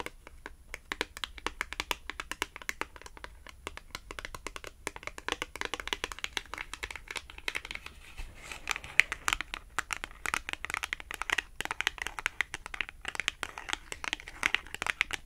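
Long acrylic nails tap and scratch a small, thin, flat red glossy-coated cardboard Tom and Jerry clothing tag. The result is a steady stream of rapid, crisp, bright clicks mixed with dry scratchy crinkling. Each tap dies away almost instantly, with little low end.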